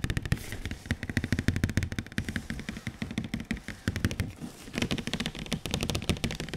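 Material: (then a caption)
Cardboard. Fingertips tap rapidly on the front face of a large, glossy printed cardboard PS4 Pro console box that is being held up. The taps come as a dense, uneven stream of short, dry hits, each with a hollow low thump and a bright click that dies away almost instantly.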